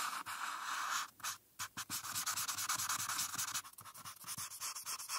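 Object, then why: Felt-tip marker on paper sheet. A felt-tip marker is scratched and rubbed back and forth across a flat paper coloring page while filling in the background, making a dry, bright scratching hiss. The strokes come in quick, uneven bursts after a brief pause, with the rubbing centered in the upper-mid range and plenty of high hiss above it.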